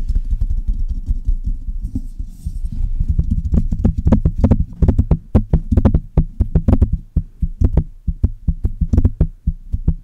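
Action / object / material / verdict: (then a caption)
tap / metal microphone body and mesh grille / metal / none. Long red-painted nails tap and scratch the metal body and mesh grille of a Blue Yeti, a hollow metal USB desktop microphone. A dense, bassy rumble of scratching and rapid tapping fills the first half, then gives way to a quicker run of sharp, distinct taps, each a deep thump with a short bright click that dies away almost instantly.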